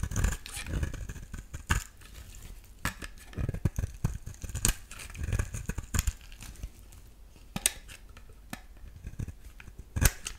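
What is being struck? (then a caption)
Bar soap scraped with a metal blade. A solid pink bar of soap is scraped with a metal utility-knife blade, and flakes fall away. Dry, crisp scraping strokes come in uneven bursts, with sharp bright clicks standing out over a low, muffled rumble.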